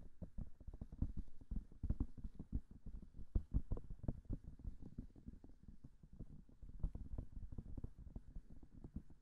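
Long manicured nails tap rapidly on the silicone ears of a binaural microphone, with no talking. The quiet taps are dense, soft and dull, heavy in the low end with almost no brightness, and they come as a fast, continuous patter with brief pauses between bursts.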